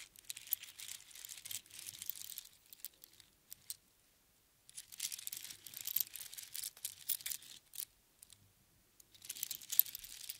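A strand of small hollow seashells on a string is dropped into an open palm, gathered, and shaken with the fingertips so the shells rattle. The result is soft, bright, crinkly clicking in three bursts separated by brief silences, with almost no low end.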